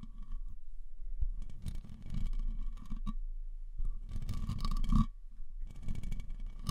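A black metal Rode NT-USB condenser microphone on a stand, held with both hands, is tapped with fingertips on its solid body and hollow grille. The result is quick clusters of dull, boomy thumps, almost all low-frequency, with a faint hum near 230 Hz. Short pauses separate the bursts, and each tap dies away almost at once.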